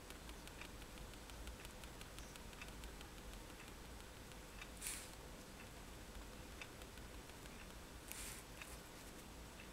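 A fineliner pen tip is tapped against a flat white sheet of drawing paper on a table to make dots. Quiet, light ticks patter over a steady low hum, with two brief, brighter scratchy strokes near the middle and end.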